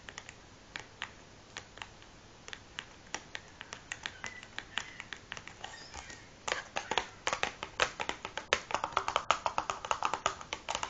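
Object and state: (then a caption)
Cardboard matchbox. Long nails and fingertips tap the top of a large, closed cardboard matchbox resting on a wooden table. Sparse, quiet, dry clicks for the first six seconds give way to faster, louder, denser tapping. Each tap is short and bright with almost no low end and no ring.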